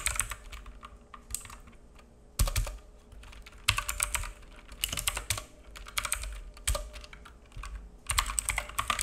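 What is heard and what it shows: Both hands type fingertip key taps on a black full-size plastic mechanical keyboard with plastic keycaps and a hollow case, resting on a wooden desk. The clacks come in quick bursts and trail off fast, with bright clicky tops over a hollow low thud and a faint steady hum underneath.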